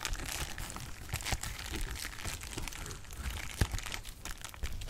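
A large sheet of clear plastic bubble wrap is crumpled and popped with fingers. It gives a steady, busy crinkling with small crunches and pops, and one sharper, louder pop stands out near the end.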